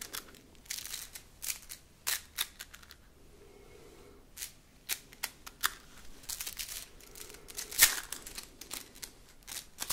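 A red plastic slinky, a hollow coil toy spring, is stretched and collapsed between hands so its coils clatter together. Quick bursts of sharp, bright plastic clicks come in clusters separated by short quiet pauses, with the loudest clatter near the end.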